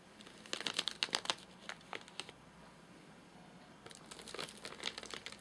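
Fingertips tap and scratch the top of a flat, sealed white plastic/paper-laminate nougat bar package with crimped edges, full of nougat bars and lying on a sofa. Bright, crisp crinkles come in an irregular cluster, pause into near-silence, then return in a second crinkly burst before the hand lifts away near the end.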